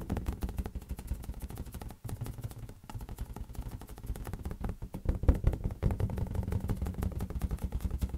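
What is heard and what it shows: A large, hollow, air-filled green latex balloon is tapped rapidly with the fingertips. The result is a fast, steady stream of soft, deep, hollow thumps with almost no brightness, each dying away almost instantly, with a brief pause near the two-second mark and slightly louder taps in the second half.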